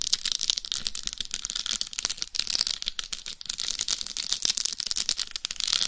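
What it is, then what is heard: Rhinestone-covered dummy head microphone. Long nails scratch and tap across the face and top of a hollow, life-size dummy head microphone covered in rhinestones. The result is a dense, continuous stream of bright, crisp clicks and scratchy rasps with almost no low end.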